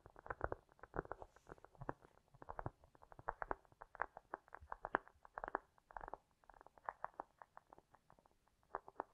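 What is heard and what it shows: A round, solid cork disc resting on a fur rug is tapped and scratched with long nails, with an echo effect added. It produces a quiet, irregular stream of short, dry, hollow taps and soft scratchy bursts centered in the midrange, with little low end and almost no ring.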